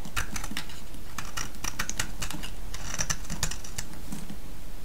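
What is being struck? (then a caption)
Soap bar cut with a metal blade. A solid orange soap bar held in the hand is shaved with a metal blade, and curls break off as it goes. Quick, crisp scraping clicks crackle brightly over a steady low rumble, in a dense, unbroken run.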